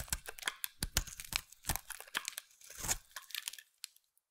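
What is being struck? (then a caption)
Solid bar of soap. A utility knife blade carves into a solid white bar of soap held in the hand, making a rapid series of crisp, bright scraping and crunching cuts. Each short, dry cut has no ring, and the cuts thin out and fade to silence near the end.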